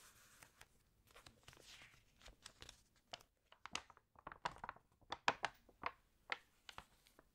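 An open, water-damaged glossy paper fashion magazine is handled as fingertips rub across the spread and nails lift a page to turn it. Soft crinkling and brushing build into a quick series of sharp, crisp paper crackles and snaps with a bright edge and almost no low end. The sounds stop dead with no ring, and the whole sequence stays quiet.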